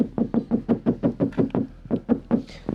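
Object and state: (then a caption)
Untreated vehicle body panel, hollow and resonant. A metal interior panel of a Land Rover Defender without sound deadening is knocked 14 times in a steady, quick series. Each knock gives a short, hollow, resonant thud centered around 270 Hz that dies away quickly. This is how the Defender's untreated panels sound before soundproofing.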